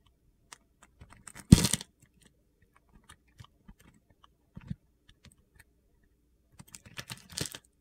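A metal blade carves gritty crumbs off a small remaining piece of solid yellow soap pinched between fingers. About a dozen short, dry crunching and scraping cuts are heard, with the loudest and most brittle burst near the start and another cluster of rapid scrapes toward the end.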